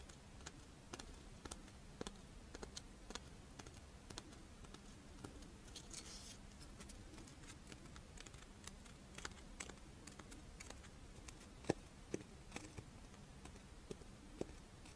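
A pink, fish-shaped strawberry rice wafer monaka is held in the hands while long nails tap and scratch its dry wafer shell. The result is a steady scatter of sharp, light clicks and brief dry scratches with very short decay, over a quiet low background hum.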